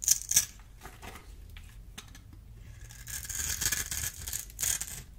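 A solid, dry purple bar of soap held in the hand is scored and scraped with a small metal blade, and cubes crumble off. Two sharp, bright crackling cuts open the clip, followed by a quiet stretch of faint scratching. Then a sustained run of dry, hissy, high scraping and crumbling swells in uneven bursts until the end.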